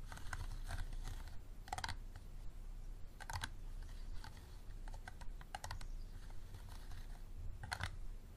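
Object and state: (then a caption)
Empty plastic water bottle. Fingernails tap the sides of an empty, hollow, clear unlabeled plastic water bottle standing upright. Short, dry, bright clicks come in quick clusters over a steady low hum. Each tap dies away almost at once.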